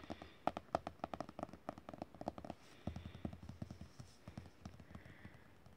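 Fingertips of a hand wearing a ring tap on a glossy page printed with a medal image in an open art book, the page resting on the book's thickness. A quick run of dry, light taps and clicks with almost no ring, sharper and brighter at first, then softer, duller, lower-pitched pats toward the end.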